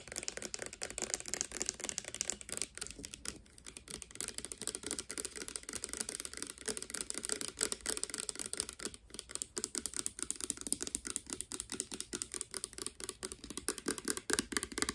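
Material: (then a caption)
Plastic. Long dark painted nails tap fast on a small, hollow, clear plastic Garnier Fructis hair serum pump bottle with a green pump top that appears to hold clear liquid. The result is a dense, continuous stream of quick, sharp, bright clicks, with almost nothing in the low end and very short decays.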